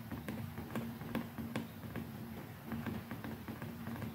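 Fingertips and long nails tap the handle and button area of a white, hand-sized, hollow plastic electric toothbrush with a dotted grip handle and round brush head, held in the other hand. Quiet, irregular, short, dry clicks come in a loose rhythm over a faint, steady low tone.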